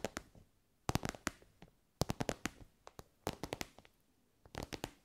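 Long nails tap an elongated soft pencil case covered in glossy pink synthetic fabric. The result is short, dry, crackly taps with almost no ring, falling into four quick bursts of about nineteen hits in all, each tap a sharp broadband click with some soft low thump beneath.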